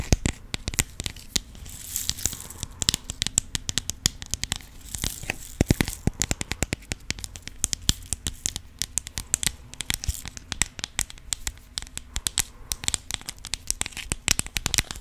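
Long pink nails tap and scratch the lid of a clear plastic organizer box filled with rhinestones. A dense, steady stream of sharp, bright clicks and crackly scratching runs throughout over a faint low hum.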